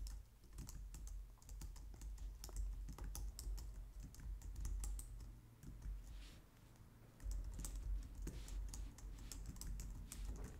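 Long nails and fingertips type on a white low-profile plastic computer keyboard, making rapid, bright clicking taps over a steady low hum. The typing runs continuously, eases off briefly around the middle, then picks back up to the end.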